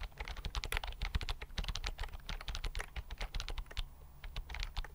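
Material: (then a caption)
Plastic. Fingertips type quickly on a slim white plastic computer keyboard held close to the mic. The result is a dense, steady stream of short, dry key clicks over a deep, thumpy low end, with bright tips on each press.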